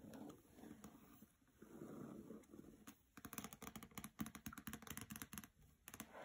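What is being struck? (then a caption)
Hardcover book with glossy paper jacket. Fingernails tap on the cover and edges of a hardcover copy of "Graceling" with a glossy paper jacket, resting on carpet. Soft scratchy rustling comes first, then a quick run of crisp, short taps with a dull mid-range knock.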